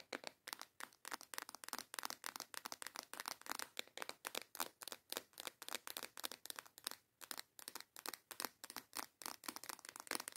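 A small transparent plastic box, partly full of colorful nail tips, is held in both hands and tapped and scratched with long yellow nails. A fast, steady run of crisp, bright plastic clicks and scratchy rattles follows, each dying away almost instantly with no low end. There is a brief gap near the seven-second mark.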